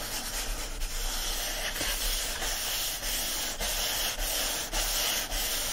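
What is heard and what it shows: Fingertips and nails scratch and rub across the printed paper pages of an open hardcover book lying flat. It makes a steady, dry, bright rasping hiss with faint repeated strokes and little low end, holding a fairly even level throughout.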